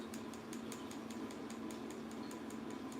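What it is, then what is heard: Fully cured hard gel nail tip. A fully cured hard gel nail tip, built on a form and cured under a lamp, is tapped repeatedly, giving a quick, evenly spaced series of light, sharp clicks over a steady low hum. The crisp tapping shows the tip is properly cured and hard.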